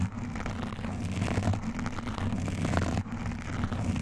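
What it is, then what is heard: Foam microphone windscreen. Both hands scratch fast at a black foam windscreen on a microphone, using fingertips and metal nail rings. The result is a dense, continuous rumbling scrape heavy in the low end, with faint crackly texture above and a brief dip in level near the three-second mark.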